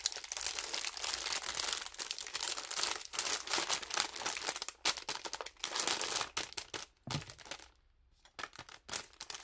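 A thin clear plastic film bag holding toy makeup pieces is held in both hands while the fingers crinkle and crumple it in place. Dense, bright, irregular crackling rustles run almost continuously, then drop briefly to near silence before a few final crinkles.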